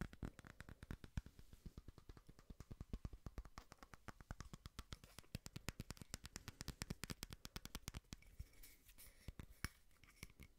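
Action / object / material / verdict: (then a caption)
tap / small frosted glass votive holder / glass / none. Fingernails tap quickly on a small frosted glass votive holder printed with cakes. Dozens of short, dry, clicky taps come in a steady rapid stream, each stopping almost at once with a dull low thump under a bright tick. Toward the end the taps grow sparser and sound slightly brighter.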